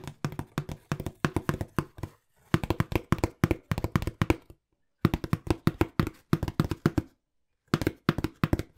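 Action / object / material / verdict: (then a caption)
tap / small cardboard box / cardboard / none. Fingertips tap rapidly on a small, hollow brown cardboard box held beside the mic. Quick runs of dull, low, hollow thuds come in four bursts separated by short silences. Each tap dies away almost instantly.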